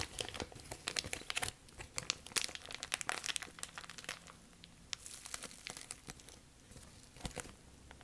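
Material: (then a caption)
Plastic. A thin, clear, empty plastic bag is crumpled, then stretched flat between both hands and crinkled. Dense, bright crackles and sharp crinkling snaps fill the clip, busiest in the first half and thinning to softer, sparser rustles toward the end.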